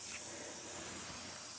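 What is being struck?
Nothing is struck.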